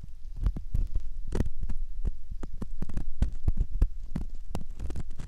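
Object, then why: Silicone ear model scraped with a metal ear pick. A metal ear pick scrapes and pokes inside the canal opening of a soft silicone ear model, producing a dense run of muffled, low thumping scratches over a steady low hum. Brief brighter clicks stand out among the dull, close-up rubbing.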